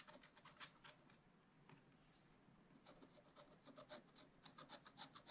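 A wooden stylus scratches back and forth across the black coated sheet of a small spiral-bound scratch art pad, revealing gold underneath. The result is quiet, bright, raspy scratching in quick, uneven strokes, with a softer lull in the middle before the strokes pick up again.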